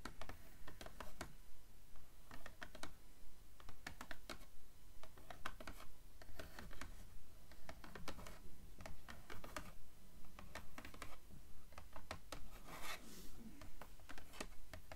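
Long nails scratch along the page edges of a blue paperback book held upright, making a quick, steady series of short, dry, papery strokes. Each stroke is brief and bright, with little ring, over a constant low rumble.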